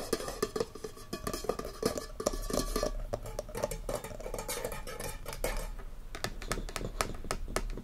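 Fingertips and short nails tap rapidly on the flat top of a round, solid wooden lid sitting on a frosted glass candle jar full of wax, which rests on a fluffy surface. The many quick, dull knocks are mostly low with a hollow midrange tone, mixed with occasional bright nail clicks, and each dies away almost instantly.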